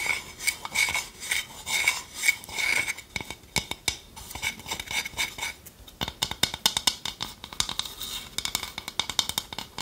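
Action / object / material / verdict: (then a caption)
tap / small wooden bowl / wood / none. Long nails tap the outer surface of a hand-sized, hollow, empty dark polished wooden bowl held in one hand, while the other hand holds a wooden spoon. The first few seconds bring soft swelling bursts, then a quick run of light, dry, bright clicks that die out almost at once. There is very little low end.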